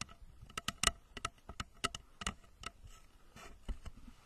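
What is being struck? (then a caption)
Plastic rocket-shaped lamp cover. Long nails tap and scratch a hollow plastic rocket-shaped lamp cover placed over the microphone, first along its body and then on its nose cone. About ten sharp, bright clicks ring out with almost no decay, separated by softer scratchy rustling.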